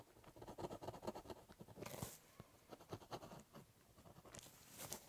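The tip of a ballpoint pen scratches across a large, hollow, brown corrugated cardboard box while drawing curved strokes. It makes a quiet, dry, scratchy patter of short strokes. Brighter, hissy bursts come around two seconds and again near the end.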